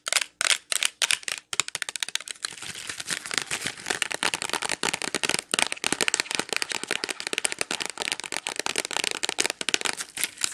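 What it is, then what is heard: Plastic wax melt package tapped with nails. Long nails tap and scratch a clear plastic Glade wax melt pack full of wax cubes. A few separate taps come first, then a dense run of rapid clicks and scratching. The sound is bright and crackly, with sharp, dry hits that die almost instantly and almost no low end.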